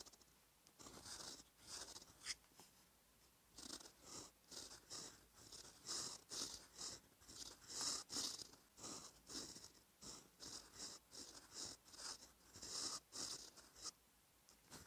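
A gold metal fountain pen nib, held by fingertips, scratches over a thin cream lined paper sheet in a notebook while writing cursive. Quiet, bright, papery scratching comes in a fast, uneven run of short strokes, about two dozen, each fading quickly between pen movements.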